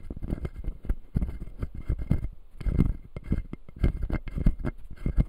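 Fingertips tap and scratch the white plastic teeth of a solid, full clear acrylic dental model. The result is a dense run of quick, dull taps and soft scratching that sits mostly low and muffled, with faint brighter clicks on top and no ring after each touch.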